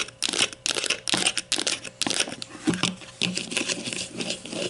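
Long nails tap and scratch the hollow casing of a grey plastic deodorant stick lying flat, making quick bursts of bright, crinkly clicks and scrapes. The sound is mostly high with little low end, and each tap dies away almost at once.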